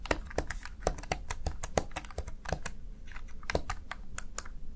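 Fingertips rapidly type on the keys of a small backlit plastic Razer Tartarus Chroma gaming keypad. A fast, uneven stream of short, sharp plastic clicks and clacks follows, each dying away almost instantly over a soft low background rumble.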